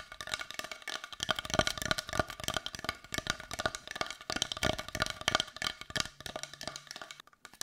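Long nails tap rapidly on a solid-looking brown carved wooden heart with a rough, grainy surface, held close. Each tap is a short, dry, hollow-sounding click with a woody tone near 625 Hz and bright edges, dying away almost instantly. The taps come in quick, irregular bursts with no pauses in between.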